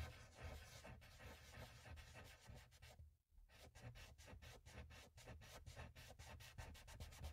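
A cotton swab held in the fingertips rubs and blends oil pastel in small strokes across a flat, solid sheet of mixed media paper on a pad. The result is a soft, steady scratchy rubbing with a low, muffled body and a faint bright edge, broken by a brief silence just past the three-second mark before the strokes resume.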